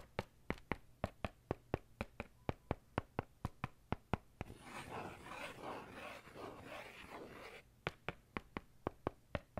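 The tip of a metal ballpoint pen taps and scratches a dark faux-leather notebook cover held flat near the face. A steady run of crisp, dry taps gives way to a few seconds of rough, rustling scratching, then the sharp tapping returns, for 27 distinct taps in all.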